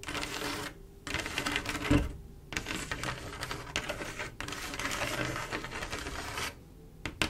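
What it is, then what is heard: Mirror glass mosaic tiles. Long acrylic nails on both hands tap and scratch across a large, solid flat panel of small silver mirror-glass mosaic tiles set in a swirl pattern with grout lines. The result is bursts of rapid, bright, clicky tapping mixed with gritty scratching, separated by brief quiet pauses.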